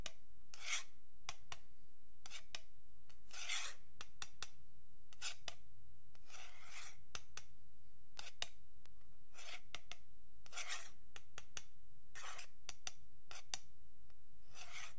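A thin metal pick scratches along the edge of a long, flat, solid wooden yardstick held by fingertips. It makes repeated dry, raspy strokes, some drawn out and some short and ticking, bright and hissy over a faint low hum.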